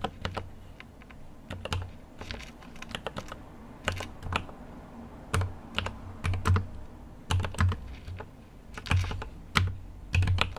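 A GMMK Pro mechanical keyboard with an aluminum case and plastic keycaps is typed on with fingertips in irregular bursts. Each keystroke gives a short, bright click over a dull low thud, dying away quickly, with brief pauses between runs of keys.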